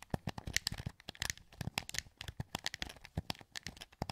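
A hollow, translucent green plastic PS2 wireless controller held in both hands, its sticks and buttons pressed by thumbs. A quick run of dry, sharp plastic clicks and taps with bright edges and almost no ring, sounding throughout at uneven pace with soft rattling between presses.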